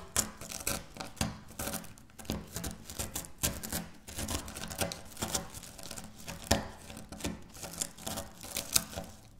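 Crumbled pieces of dry wafer biscuit are pressed and crushed by fingertips with long nails on a stone surface. The result is a steady stream of crisp, bright crackles and sharp crunches in quick irregular bursts, with a light low thump under each press and brief quiet gaps between.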